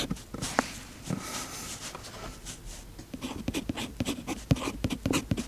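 A fountain pen's metal nib scratches across the page of an open paper notebook with a cloth cover while the other hand holds the page flat. Soft, dry scratching strokes come first, then a run of short, sharp ticks and taps with bright, high edges, each ending almost at once.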